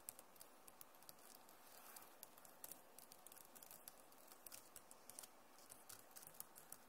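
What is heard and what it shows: Both hands tap and type on a backlit Acer laptop keyboard with plastic keys, using fingertips and nails. About thirty quiet, quick clicks land in an irregular patter, each short and bright with almost no ring, over a soft low hiss.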